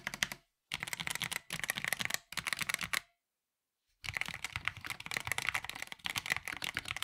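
An NYK Nemesis Daemon 65% mechanical keyboard with a black plastic case and ABS keycaps, modded with tape, is typed on with fingertips tapping individual keys and both hands. Short bursts of bright, crisp clacks with a sharp, dry attack and almost no ring are separated by brief pauses, then a near-silent gap gives way to a steady run of continuous typing.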